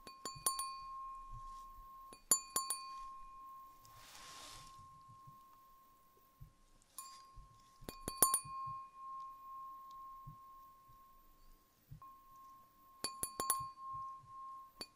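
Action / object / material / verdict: tap / glass wine glass / glass / none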